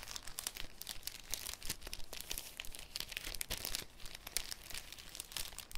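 A folded, thin, clear cellophane sheet is crinkled and opened with fingertips. It makes a dense, irregular stream of sharp, bright crackles with a soft low rustle underneath. Each snap fades almost instantly.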